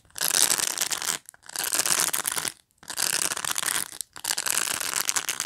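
Fingertips and nails pluck and scratch the bristles of a black plastic pet brush up close. Four long bursts of dense, bright, crackling scratching are heard, separated by short silences, with almost no low end.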